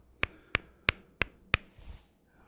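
Blocks are knocked together five times at a steady pace, each hit a sharp, bright click that dies away almost instantly. A faint, soft rustle follows the last knock.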